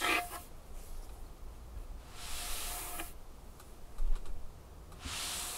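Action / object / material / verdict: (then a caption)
scrape / wooden tabletop / wood / none. Long painted fingernails scratch and tap across a large, solid wooden tabletop. Bright, hissing scratch strokes come in bursts at the start, middle and end, with quick dry taps ticking in between over a steady low hum.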